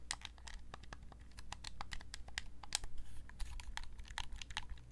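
Long painted nails tap and click rapidly on the shell and buttons of a red PlayStation-style gamepad, a hand-sized, hollow, hard-plastic controller held in both hands. The clicks are short, dry and bright, with no ring, over a steady low hum.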